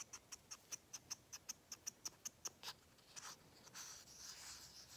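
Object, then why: Small plastic paint bottle with flip cap. Fingernails scratch the cap and top of a small plastic acrylic paint bottle with a flip cap, making a quick, steady run of crisp, high ticking scratches. It then turns into a looser, hissing scrape that fills out the last two seconds. The sound is quiet, bright and dry, with almost no low end.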